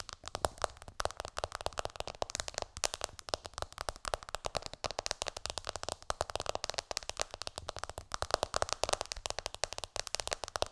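Long dark nails on both hands tap rapidly on the glass screen of a black iPhone lying flat on a pillow. The result is a dense, continuous stream of sharp, bright clicks with no ringing after each tap.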